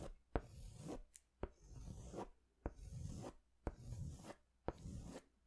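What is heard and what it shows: A yellow-orange crayon is stroked across a large white paper sketch pad held upright, in short hatching strokes. Each stroke begins with a sharp tap and continues as a soft, dull, scratchy rub, repeating in a loose, uneven rhythm of about one per second with brief silences between.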